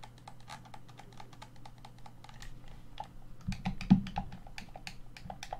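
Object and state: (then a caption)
Plastic game controller. Fingertips and nails tap and scratch the back and grips of a hollow black plastic Xbox One controller. A quick, uneven run of light, dry clicks sounds over a soft low hum, with one louder tap near the four-second mark.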